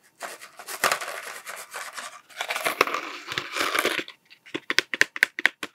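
Fingertips scratch and tap a hollow cardboard Smarties tube with a plastic cap. For about four seconds there is a continuous dry, papery scratching and crinkling that swells and fades. It is followed by a run of quick, separate, bright taps with a hollow tone around 1.8 kHz and almost no low end.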